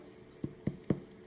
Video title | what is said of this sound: Easy Imperfect Sourdough Bread SD 480p for youtube | Hollow sound that's perfect